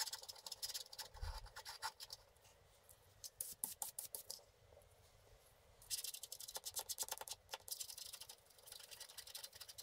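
A wooden stick scratches the lower area of a flat, black wax-coated scratch art sheet lying on a table. The result is quiet, bright, rapid scratching in bursts, with short pauses between strokes.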